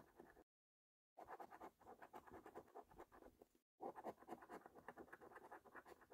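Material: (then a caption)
Paper. A metal coin held in the fingertips repeatedly scratches the latex scratch-off coating off the game boxes of a thin paper lottery scratch card, leaving debris on the card. Quick, dry, rasping strokes sit in the midrange, broken by a short silent pause near the start and a brief one later. Each stroke ends with almost no ring.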